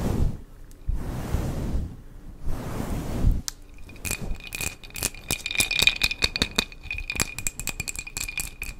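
Long acrylic nails scratch a small glass jar candle filled with solid tan wax, making three broad, breathy rasps over the first few seconds. The nails then tap the glass in a quick, irregular run of sharp clicks, each with a short, bright glassy ring near 2.4 kHz.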